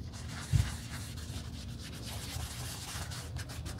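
A gloved hand uses tweezers to rub a cotton pad over a red quilted leather Gucci Marmont shoulder bag with brass eyelets and a GG logo, its flap open as it lies on a white table. A single soft, low bump comes early, then a steady, quiet, dry scrubbing continues, mostly low in tone with a faint bright hiss.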